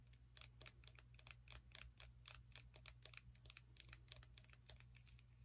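Fingernails tap quickly on a small orange pumpkin with a stem, making a rapid stream of short, bright clicks with little ring. A steady low hum runs underneath.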